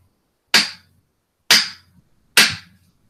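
A police baton is struck against a hickory axe handle three times, giving sharp, bright knocks with a short ring near 2 kHz and almost no low end. The hard object against wood sounds more like rocks knocking than a natural wood knock.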